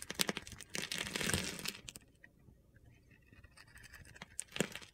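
A utility knife blade carves and shaves small cubes from a solid rectangular rainbow bar of soap, held in hand and scored with a grid pattern. Dense, bright, crunchy scraping and crackling fills the first two seconds, then fades to a quiet lull of faint gritty scratching. A few sharp crunches return near the end.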